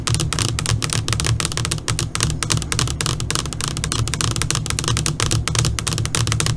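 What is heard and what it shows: Long pointed nails on both hands tap rapidly on a flat black LCD computer monitor screen. The result is a dense, continuous stream of short, bright clicking ticks that stop almost at once, over a steady low hum.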